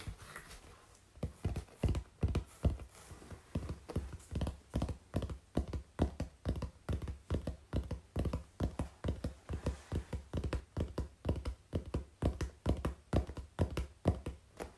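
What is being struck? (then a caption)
Corrugated cardboard sheet. Long pink-painted fingernails and fingertips tap and scratch a large, flat, brown corrugated cardboard sheet held upright in front of the body, its thin, hollow-fluted surface answering each strike. After a brief quiet start, a fast, loosely regular run of dull, hollow taps follows, deep and thuddy with little brightness, each one dying away almost at once.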